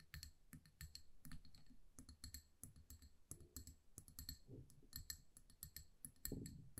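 A small amber glass candle jar with a paper label, filled with solid wax and held in the hands, is tapped and scratched with long acrylic nails. The result is a quick, uneven run of bright, crisp clicks and ticks over soft, dull low thumps, with brief scratchy passages and very little ring after each tap.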